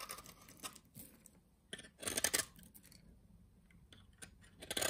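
A utility knife scores and shaves the surface of a solid, translucent beige soap bar held in the hand. The result is quiet, dry, bright scraping and crisp crunching strokes in short bursts, with the loudest shaves near the middle and at the end.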